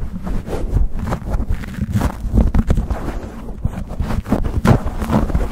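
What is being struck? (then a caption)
Foam microphone windscreen. Fingertips and nails scratch, pinch and rub a black foam windscreen on a microphone close to the camera. The result is a fast, rough run of muffled, low-heavy scuffs and crackles, with sharper bright streaks at each scratch and a constant windy rumble beneath.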